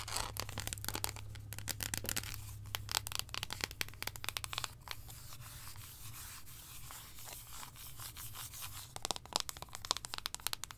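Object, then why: Thick milk chocolate slab. Long acrylic nails tap and scratch across the embossed segments of a large, solid, thick milk chocolate slab held and tilted in the hands. The result is a dense run of sharp, bright clicks and dry scratchy rubbing, heard over a steady low hum.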